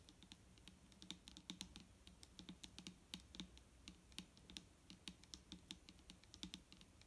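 Both hands tap quickly with long nails on the top of a large, clear plastic micellar water bottle that is full of liquid and lying on a table. The result is a steady stream of short, dry clicking taps with bright, crisp tops and a soft hollow body, each dying away almost instantly.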